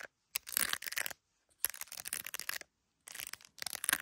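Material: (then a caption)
Plastic. Long acrylic nails tap and scratch an iPhone in a clear plastic case covered with gummy bear decorations, held up to a mirror, working over the case and the camera bump. Quiet, dry, bright clicks and scratchy rasps come in rapid clusters separated by short silences, with no low end and almost no ring after each tap.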